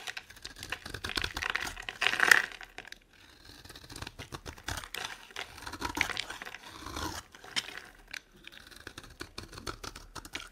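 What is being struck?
Bar of soap scraped with a metal knife.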